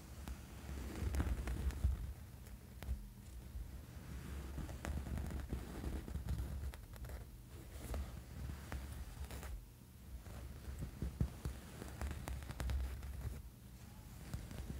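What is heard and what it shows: Fingernails scratch a small, soft, padded black fabric sleep eye mask with an elastic strap as it lies on a bed. The result is a steady, close, soft scratching and rustling with faint brighter ticks, sitting over a dense low rumble that carries most of the energy.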